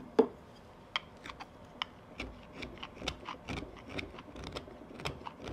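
A carving knife shaves a wooden tobacco pipe bowl, held by its shank in the fingers, in rapid short strokes. Dry, bright whittling scrapes on wood follow one another in quick succession, with a sharper snap near the start.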